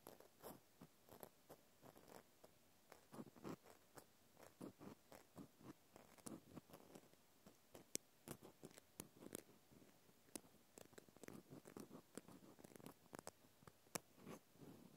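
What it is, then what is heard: Plastic clothespin scratched. A small white plastic clothespin held in the hand is scratched with a cotton swab. The result is a quiet, rapid series of short, dry scratching strokes with a crisp, crunchy texture. Each stroke stops almost instantly with no ring.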